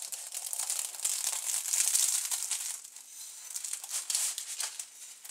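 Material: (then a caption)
Phyllo pastry. A large metal chef's knife presses and saws through a rectangular golden bougatsa, a baked phyllo custard pie with crispy, flaky layers and a soft semolina custard filling, resting on parchment paper on a board. Dense, bright crunching and crackling of the phyllo comes in bursts, with a quieter stretch in the middle before the crunching picks up again.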